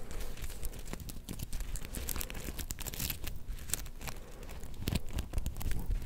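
A palm-sized soft star-shaped plush covered in black and gold flip sequins is held in both hands and scratched with long painted nails, making the sequins flip. A steady stream of quick, dry crinkling and tearing-like clicks and scrapes is heard over a low, rumbling base, with brief bright ticks from the sequins throughout.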